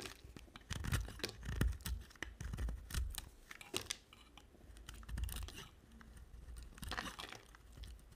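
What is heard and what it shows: An oval, solid pink bar of soap held in the hand is shaved with a utility knife blade, sending pink curls falling. Dry, crisp scraping and crunching strokes come in uneven bursts with short pauses between them, each stroke carrying a bright rasp over a low thud.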